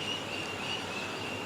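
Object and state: Nothing is struck.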